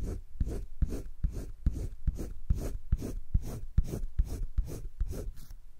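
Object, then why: Thick drawing paper page of a spiral sketchbook rubbed with a colored pencil. A green colored pencil is rubbed back and forth across a thick drawing-paper page of a spiral sketchbook while coloring. It makes about 14 rhythmic scratchy strokes, each a soft low thump with a breathy, bright rasp on top. The strokes come at a steady but slightly uneven pace of a little over two per second.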